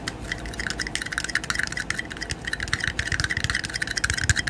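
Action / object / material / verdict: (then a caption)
tap / thin plastic disposable cups / plastic / none. Two small, empty, hollow, thin-walled red disposable plastic party cups, one held in each hand in front of the microphone, are tapped together at the rims and sides and tapped with the fingertips. A rapid, uneven run of light, dry plastic clicks and taps follows, with a bright, hollow tone around 2 kHz and a faint low thump under some taps. Each tap dies away almost instantly.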